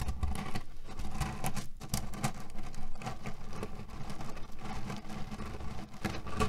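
A small, soft square cotton-canvas heat pillow printed with red cherries and filled with loose cherry stones is scratched and kneaded with fingertips and short nails, then rubbed with flat palms. The result is a steady, dense, low-heavy rustling and crunching of shifting pits, with quick soft clicks and faint brighter scratches over a continuous muffled grind.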